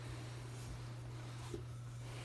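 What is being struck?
Nothing is struck.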